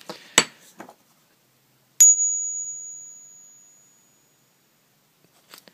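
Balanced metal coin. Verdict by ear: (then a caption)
Fake. A counterfeit Bermuda Crown coin of non-silver metal is balanced on a finger and tapped for a ping test, giving a thin, high ring that fades over about two seconds. A few short broadband knocks come before it and after it. The coin is fake: its ring does not last as long as a genuine silver coin's, and its diameter, weight and a magnet test also show it is counterfeit.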